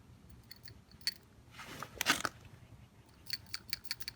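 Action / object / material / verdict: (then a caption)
shake / PCV valve, metal and plastic / metal / free. A new PCV valve for a Toyota 1MZ-FE engine (Toyota Harrier / Lexus RX 300) is shaken by hand, and its internal check ball or plunger rattles freely. Sharp, bright metallic ticks are followed by a denser burst of rattling in the middle and more quick clicks at the end, the sound of a working valve.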